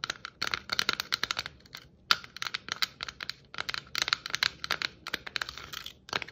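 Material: Plastic.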